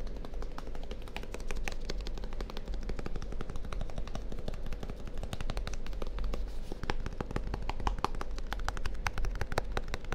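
A small purple plastic deodorant stick container with a label, hollow and likely full, is held in one hand beside a binaural microphone and tapped rapidly with the fingertips and nails of the other hand. It makes a dense, steady stream of sharp, dry clicks that die away almost instantly over a constant low rumble.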